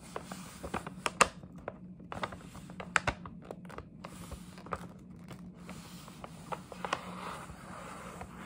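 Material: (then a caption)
Paper. Long nails scratch and tap on the side of a printed paper gift bag up close. Quiet, irregular sharp taps and short clicks stand out over a soft, continuous papery scratching and rustle with some bright crinkle. Each tap dies away almost at once.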